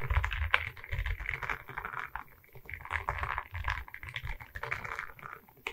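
Long red nails tap and scratch across a flat rectangular diamond painting on a wooden canvas, its surface covered in small resin rhinestone beads on a wooden frame and held in both hands. Rapid, dry clicking and gritty scraping come in uneven bursts, with a soft low thump under the brighter clatter.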